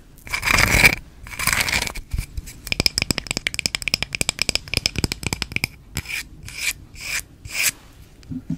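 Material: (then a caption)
Wood. Long red-painted fingernails rub and scratch the surface of a small, flat, round coaster of solid light wood held close to the mic. Two broad rasping rubs open the clip, followed by a quick run of short, crisp scratches and then several slower rasping strokes, bright and dry with no ring.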